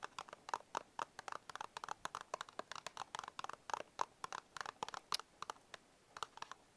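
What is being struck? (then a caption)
Small paperboard box. Fingertips and short nails tap and scratch the front panel of a small printed paperboard Bisco biscuit box held upright. About three dozen quick, dry taps centered around 1 kHz, each dying instantly with no ring, are mixed with brighter scratchy strokes in an irregular, steady patter.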